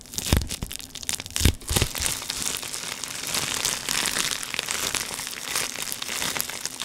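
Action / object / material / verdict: scrape / plastic air-cushion packaging sheet / plastic / none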